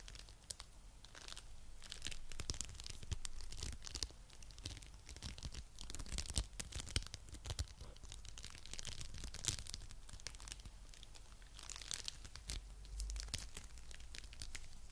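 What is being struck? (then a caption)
Foam bead clay lump. A coral-pink lump of foam bead clay is held in one hand while the fingers squeeze and stretch it. It gives off a dense, continuous run of crackly, tearing and crinkling sounds with sharp bright pops and a steady low hum underneath, all at a soft level.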